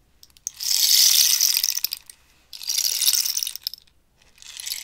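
A hollow cactus-wood rainstick is held up and turned, and the pebble filling rattles and ratchets down inside it. Three bright, hissing pours rise and fade, the third still building as the clip ends, with a fine crackle of tiny clicks and almost no low end.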